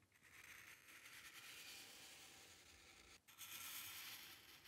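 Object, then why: Paper sheet under a metal pen nib. The metal nib of a dip pen scratches across a flat sheet of white drawing paper on a dark table, drawing long ink lines. A steady, bright, hissing scratch runs as two long strokes, split by a brief pause at about three seconds.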